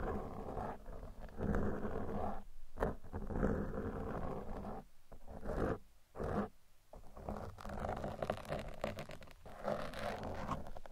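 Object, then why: Foam microphone windscreen. Two metal tweezers are pressed into and scratched along the sides of a black foam microphone windscreen. The result is a dense, close-up, low-heavy rustling and crackling scrape with a rumbling, roar-like texture. It swells and drops away in brief quiet gaps as the strokes change.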